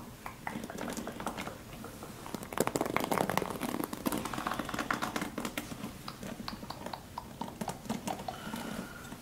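Fingertips brush and flick across the ball-tipped bristles of a solid handheld paddle hairbrush, with dense multicolored flexible plastic bristles on a dark cushion base, held up close. The result is a continuous stream of soft, rapid crackling and ticking scratches that swells louder between about 2.5 and 4 seconds before settling back to a steady, quieter rustle.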